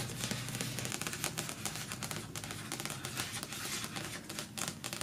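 Long-nailed fingertips tap and scratch quickly across the glossy card cover of the closed paperback novel *Milkman*, which lies flat on a patterned cloth. The result is a dense run of short, dry, bright clicks and scratchy rasps with almost no ring, over a steady low hum.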